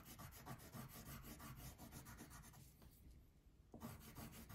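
A blue wax crayon is rubbed back and forth across a thin paper coloring page lying flat on a table, filling in the background near the top edge. The quick, scratchy strokes sound dry and rasping with a low, papery rumble, ease into a brief lighter pass, then pick up again.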